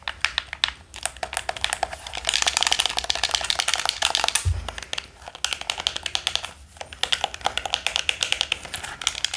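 A black, hollow plastic handheld game controller in the Pro Controller style is held close in both hands while fingertips rapidly tap its plastic shell and press its buttons and sticks. The result is a dense, fast stream of bright, dry clicks and taps with almost no ring, plus a brief low thump just before the halfway point.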